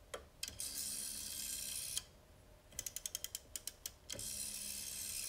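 Fingertips turn the metal and plastic dial of a vintage black rotary desk phone with a bakelite/plastic body and hollow housing, resting on a wooden table. A bright, steady ratcheting whir plays as the dial is wound, then about nine quick, separate clicks sound around the finger stop. A second sustained bright ratcheting run follows.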